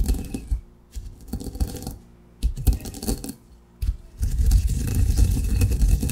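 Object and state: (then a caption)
Coffee beans ground in a granite mortar. A granite pestle grinds coarse coffee grounds in a granite mortar, producing bursts of gritty crunching and scraping separated by short pauses. The grinding turns heavier and continuous over the last couple of seconds, with a deep thudding body under a bright, sandy rasp.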